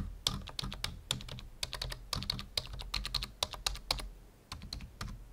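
Fingertips of both hands type quickly on a full-size black plastic membrane keyboard resting on a wooden desk. The result is a rapid, uneven stream of short, bright clacks over a soft low thump, with each keystroke dying away almost instantly. There is a brief lull near the end before the typing resumes.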